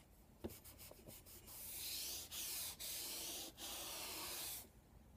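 Chalk is drawn across a flat black chalkboard with a wooden frame, starting with a few short taps and strokes as marks are made. It then becomes long, continuous, bright scratching as circles are scribbled, with brief pauses between strokes before it stops.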